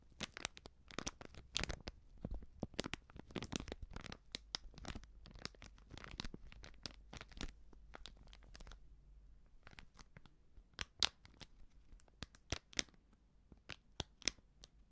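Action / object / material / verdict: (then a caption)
scrape / plastic-foil sachet of baking soda / plastic foil / none. A small, sealed, filled plastic-foil baking soda sachet is crinkled and scratched with long nails, giving quick, bright, dry crackles and scratches that die out almost instantly. Dense bursts of crinkling fill the first half, ease into a quieter, softer rustle around the middle, then return as sparser, sharper crinkles toward the end.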